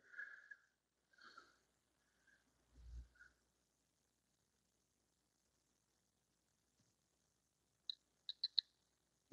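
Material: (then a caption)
Metal. A metal check-valve fitting from an old Saxon car engine's oil pump and plunger assembly, loosened in a vise but not yet opened, is shaken. It gives faint, soft rattles, then a quick burst of sharp, high-pitched clicks as the loose ball knocks inside. The rattle confirms the check valve and its ball are still in place.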